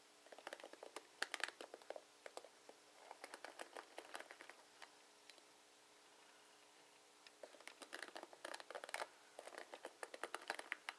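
Fingers and nails scratch and strum the plastic pins of a plastic paddle hairbrush, making quiet, crisp bursts of rapid clicking and scratching. The bursts come in clusters with a near-silent pause in the middle of the clip before the strumming picks up again.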